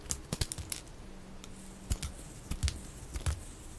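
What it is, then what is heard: Bar soap being sliced. A metal utility-knife blade cuts curved slices from the edge of a solid oval white bar soap embossed "SAVE" that is held in the hand, sped up to double speed. About eleven short, crisp cuts sound in an irregular rhythm, each a dry click with a soft low thump and a bright scraping edge that stops almost at once. Faint quiet hiss fills the gaps between cuts.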